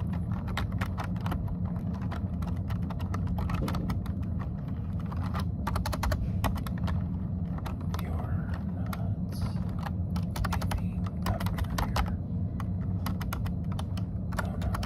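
Both hands type with their fingertips on a plastic computer keyboard, making steady, rapid key tapping throughout. The sharp clicks ride over a constant low hum.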